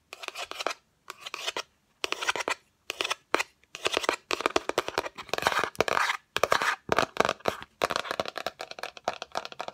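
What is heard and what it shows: Long acrylic nails tap and scratch quickly across the white inner surface and rim of an open, hollow yellow cardboard Fendi gift box. Dry, bright, crackling clicks and scrapes come in rapid bursts separated by brief pauses, each tap dying away almost instantly with no ring.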